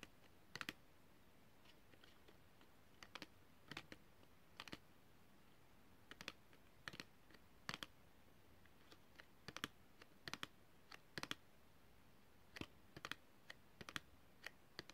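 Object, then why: Small cardboard cosmetic box wrapped in clear plastic, tapped with fingernails. Long red fingernails tap a small, hollow, rectangular pink-printed cosmetic box, a card box wrapped in clear plastic or cellophane and held in both hands. The taps are quiet, crisp, bright clicks that stop almost instantly. They come in irregular clusters of quick double and triple taps over a low, steady background hiss.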